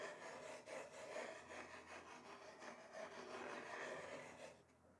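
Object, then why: Wooden chopping board scraped with thin wooden sticks. Two thin wooden sticks held in the hands tap and scrape along the slatted surface of a large, flat, solid wooden chopping board. The result is a quiet, steady, raspy rubbing texture that fades toward the end.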